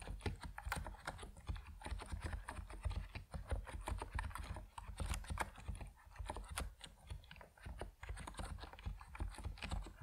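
Fingertips of both hands type rapidly on an Epomaker NiZ Plum Atom 68, a 68-key compact mechanical keyboard with white and purple PBT plastic keycaps, resting on a wooden desk. A steady stream of short, crisp key clacks dies away almost instantly over a constant low rumble.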